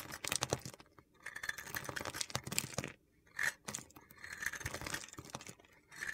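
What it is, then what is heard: Glittery bar soap being carved. An oval white soap bar with a gold glitter coating is carved with a utility knife blade, and crunchy flakes fall away. Bursts of dry, gritty scraping and crunching come in uneven runs separated by short pauses.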